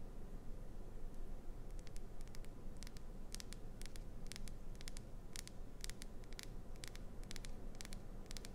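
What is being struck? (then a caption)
Glycerin soap bar. Long pointed acrylic nails tap and scratch the surface of a solid, hand-sized, unwrapped, clear green rectangular glycerin soap bar with an embedded clownfish design. Many quick, bright clicks and light scratches come in irregular clusters over a steady, quiet low rumble.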